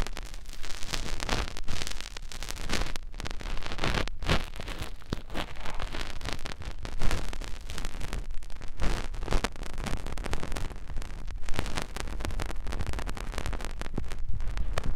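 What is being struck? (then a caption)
Silicone ear of a binaural microphone. An index finger rubs and presses into the ear canal of a soft white silicone ear on a round binaural microphone housing, with repeated friction. The result is a dense, continuous stream of close-up rubbing and scratching, heavy in muffled low rumble with brief brighter crackles. It stays at a fairly steady level throughout.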